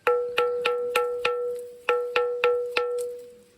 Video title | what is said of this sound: MANNIPARA PERUMBAVOOR KEEZHILLAM😱 ഈ കല്ലിന് മണി മുഴങ്ങാൻ കഴിയും #travel @delwindvlogs | ഇതിന്റെ ടോപ്പിലൊക്കെ നല്ല സൗണ്ട് ഉണ്ട്